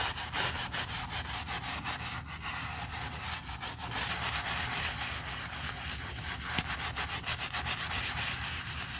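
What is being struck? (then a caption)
Leather handbag scrubbed with a bristle brush. A quilted black leather Chanel bag resting on a towel is scrubbed with a foamy, wooden-handled bristle brush. Steady, bright, hissing brush strokes repeat in an uneven rhythm over a low rumbling bed.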